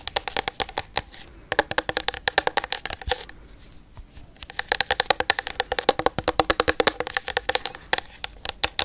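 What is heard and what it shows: Long yellow nails tap rapidly on a full, medium-sized clear plastic bottle of pink micellar water. The quick, uneven clicks are sharp and bright, with a short quieter pause in the middle before the tapping picks up again.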